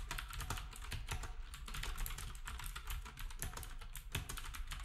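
Fingertips of both hands type on a black, retro, typewriter-style keyboard with round plastic keycaps. A rapid, steady stream of bright plastic clicks and clacks rides over a low thump from each keystroke. Each click decays quickly.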